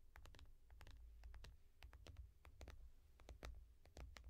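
Long nails tap and scratch the glass screen of a small tablet in a yellow foam case. Quick, bright clicks sound in an uneven, typing-like rhythm over a steady low hum.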